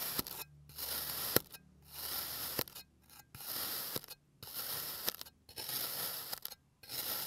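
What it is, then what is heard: Kinetic sand being sliced. A clear plastic blade slices layer by layer up through the body of a solid blue kinetic sand bear shape resting on a green surface. Each cut makes a bright, grainy scraping crunch, with the strokes separated by short silent pauses. Occasional sharp ticks punctuate the soft, mostly high-pitched hiss of the sand.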